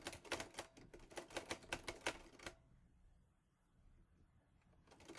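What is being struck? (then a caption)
Metal manual typewriter. Fingertips type on the keys of a mint-green Olivetti Lettera 22 portable typewriter with a metal body and paper loaded. About a dozen sharp, bright metallic key strikes clack in an uneven burst over the first two and a half seconds. A quiet pause follows before the typing starts again at the end.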